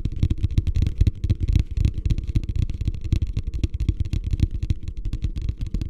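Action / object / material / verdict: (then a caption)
tap / plastic wastebasket / plastic / none. Fingertips tap rapidly on the base and sides of a medium beige plastic hotel wastebasket, hollow and empty, held upside down in both hands in front of the face. The result is a quick, uneven patter of deep, hollow thuds, about four per second, with almost all of the sound in the low range and each tap dying away almost instantly.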